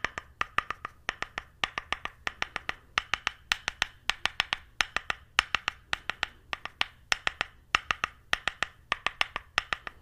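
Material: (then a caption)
Wood. An orange-brown flat solid wooden paddle, held upright beside the mic, has its face tapped with a small white stick or brush handle in knocking taps. About 55 sharp, dry wooden knocks come in quick clusters of two to four with brief pauses between them. Each knock is hollow-toned around 1250 Hz with a bright click on top and dies away almost instantly.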